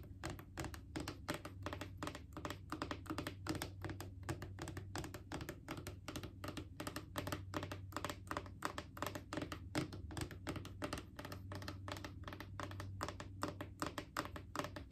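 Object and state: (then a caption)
Plastic wipes canister. Long painted fingernails tap rapidly on a Clorox disinfecting wipes canister, a hollow cylindrical plastic container about 20 cm tall with a white plastic lid, partly full of wipes and held in the lap. The result is a quick, steady stream of short, dry plastic clicks and light thunks that die away almost instantly, over a low, constant hum.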